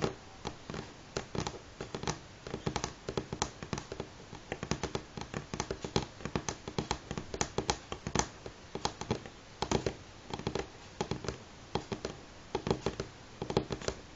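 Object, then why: Wooden table. Fingernails tap on a wooden table at varying speeds, making many short, dry clicks and clusters of quick taps with almost no ring. Each tap has a woody knock around the midrange and a bright, crisp edge, over a quiet background.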